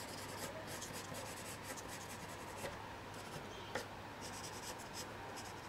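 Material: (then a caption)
Paper. A blue colored pencil draws short strokes near the bottom edge of a single thin sheet of white paper, which lies flat on a table and is held down by a hand. The tip scratches across the paper in a quiet, steady, papery rasp, with brief brighter bursts of scratching over a faint low hum.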